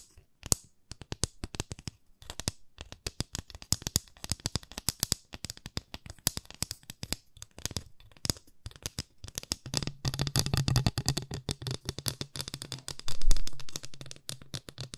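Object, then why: Thin wooden stick. A long, thin, solid wooden stick, like a skewer, is held horizontally in both hands and tapped quickly with long manicured fingernails. Dense, dry clicks with very short ring run throughout, and a steady low hum enters in the second half.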